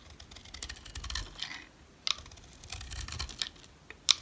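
A utility knife scrapes and shaves flakes off the face of a dry, solid brown rectangular NC soap bar held in the hand. The sound is a run of crisp, bright, dry scratches and crackles with very little low end, punctuated by sharper snaps around 2.1 and 4.1 seconds.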